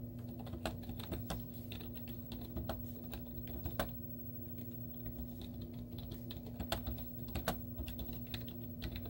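Long teal-painted nails and fingertips type rapid taps on a white plastic laptop keyboard with cartoon stickers on its hollow keys. The hollow clicks and clacks ride over a steady low hum, with a few sharper, louder taps standing out.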